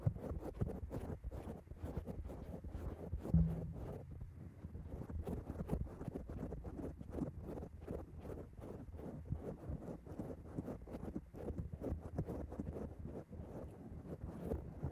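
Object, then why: Foam microphone windscreen. Long acrylic nails of both hands scratch and tap on a black foam microphone cover, giving a dense run of soft, muffled rustles and thuds concentrated in the low range, with almost no bright content. One louder thump stands out early on, and the rest stays at a steady, close scratching texture.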